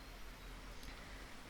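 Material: Nothing is struck.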